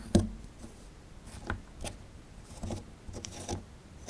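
A metal pick tool scrapes a small, solid plaster excavation block held in the hand. A sharp, loud first scrape is followed by several quieter, gritty scratches and taps spread across the clip. Each one is a short dry rasp with a low thud and faint bright grit, and none of them rings on.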